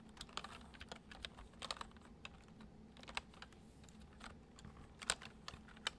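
Fingertips tap steadily on the keys of a white plastic computer keyboard. Each tap is a short, bright click that dies away almost at once. A low, soft hum runs quietly underneath.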